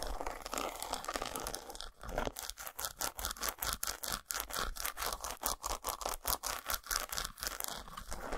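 Long nails scratch and tap the textured squares of an unwrapped solid dark chocolate bar resting on a towel. A steady, crisp scratching runs for about two seconds, then gives way to quick, evenly paced bursts of dry, bright scraping and clicking.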